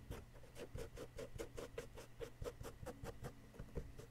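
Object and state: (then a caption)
Plaster excavation block being scraped. A wooden chisel stick repeatedly scrapes a solid yellow plaster excavation block. It makes quiet, rapid, rhythmic scratchy strokes with a dull, low-heavy tone and little bright content. Each stroke dies away almost at once.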